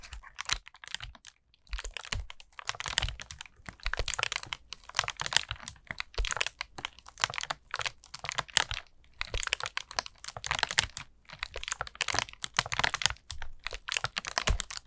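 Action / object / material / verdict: tap / small plastic battery cap / plastic / none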